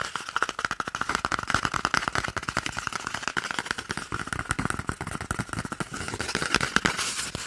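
An empty, hollow, hand-sized brown cardboard toilet paper roll tube is held in one hand and quickly tapped and scratched close to the microphone with the fingertips and short nails of the other hand. A dense, rapid stream of dry, hollow taps with no ring carries a steady papery tone around 1.4 kHz. Scratchy crinkling fills the gaps between the taps.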